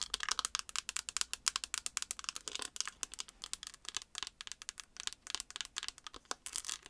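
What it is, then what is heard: Plastic eyeshadow palette. Long acrylic nails tap and scratch a closed, hand-sized, flat, hollow white-and-pink chocolate-bar eyeshadow palette with an embossed plastic lid, held in both hands. The result is a rapid, steady stream of crisp, bright clicks and scratchy ticks that stop instantly, with almost no low end.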